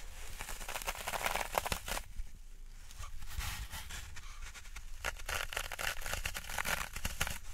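A large rectangular block of green floral foam (phenolic foam), solid and porous, is held in both hands above a wooden tray while fingertips and long nails press into and scratch its surface. Dense, dry crackling and crunching scrapes come in bright bursts, easing briefly in the middle before picking up again.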